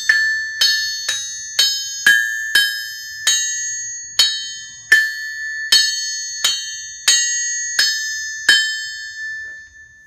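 A small hammer is dropped 13 times onto the face of a 100 lb Trenton solid steel anvil on a stand in a rebound test. Each drop gives a bright, ringing metallic ping centered near 1.76 kHz with high overtones. Each ring fades quickly before the next strike.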